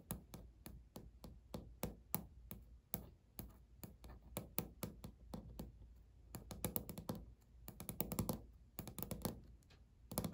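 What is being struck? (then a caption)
Laminate countertop. Fingernail tips from both hands tap in rhythm on a flat, solid, speckled beige laminate countertop. The taps are short and dry, with low-heavy thuds and very little ring, and they start as a steady pattern before breaking into quicker flurries toward the end.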